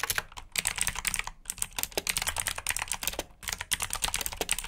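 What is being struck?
Plastic mechanical keyboard.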